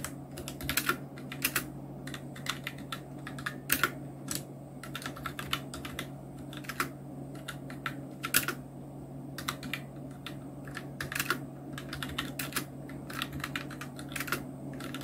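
Continuous two-handed fingertip typing on a full-size black Nubwo Illution NK-70 plastic mechanical keyboard with Outemu red switches, round plastic keycaps and blue backlight. Quick, irregular bright clacks and taps come in uneven bursts over a steady low hum.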